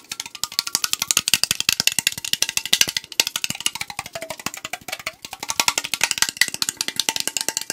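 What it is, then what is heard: Aluminum can, fingertip tapping. Fingertips and nails tap fast along the side of a tall, hollow AriZona green tea aluminum can held near the mic. The result is a dense, steady stream of crisp, bright clicks with almost no low end, each dying away almost instantly. A faint hollow metallic ring shifts in pitch underneath.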